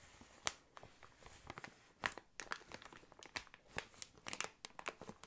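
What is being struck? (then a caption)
Inflated plastic air column cushion. Fingernails scratch and fingertips rub an inflated clear plastic air column cushion used as packaging. Quiet, bright crinkling and scratching come in many short, sharp bursts with almost no low end. Each burst cuts off quickly with no ring.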